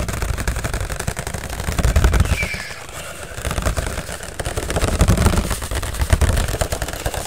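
An empty white fluted disposable paper plate, thin and hollow, is held near the ear and tapped quickly with the fingertips of both hands. The result is a fast, dense flurry of soft, low, thuddy drumming with little ring, swelling and easing in loudness throughout.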